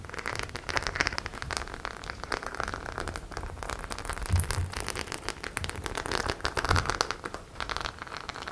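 Long nails scratch and tap across the small metal and plastic studs covering a flat, hollow white faux leather clutch bag. The result is a dense, steady crackle of quick clicks and scrapes, like a rain patter, with brief low thumps in the middle and a short swell of louder taps near the end.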